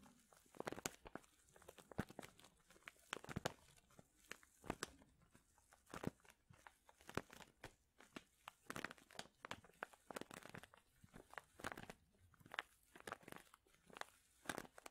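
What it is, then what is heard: Plastic zip bag of wool being crinkled. A medium clear plastic zip bag full of soft purple wool fibre is crinkled and pressed with fingertips and nails. The result is quiet, continuous crackling with many sharp, bright snaps and crunches that stop dead with no ring.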